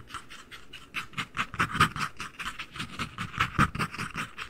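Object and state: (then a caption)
Empty cardboard ring box. The lid and base of a small white cardboard ring box, hollow and empty, are held above a microphone and tapped with fingertips and nails. The result is a quick, uneven run of soft, hollow, papery taps and clicky nail ticks with a bright edge. Each tap dies away almost at once.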